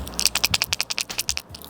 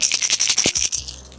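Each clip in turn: First: lipless crankbait with tungsten rattle. Second: lipless crankbait with a high-pitched rattle.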